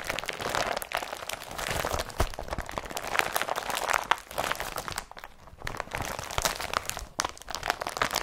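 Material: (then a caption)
Polypropylene. An empty blue IKEA BRATTBY woven polypropylene carrier bag lying on a table is pressed and rubbed with the fingertips. It gives off a dense, continuous crinkling and crackling with sharp, bright crunchy snaps, dropping briefly quieter around five and seven seconds before the rustling resumes.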